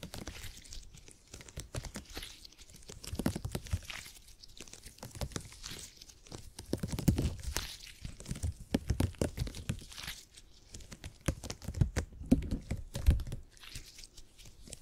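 A purple open-cell gel grid cushion made of hyper-elastic polymer is held in both hands, stretched and squished while fingertips press and scratch its grid walls. The sound is a dense run of short crackling, crinkling and squishing bursts, mostly low and thumpy with faint bright scratchy edges, swelling in louder clusters and easing back in between.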